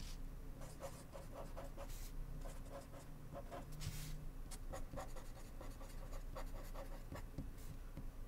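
A blue ballpoint pen writes text across a small, flat white paper index card resting on a wooden desk. Quick, irregular scratchy strokes come in short bursts with bright, crisp edges over a steady low background hum.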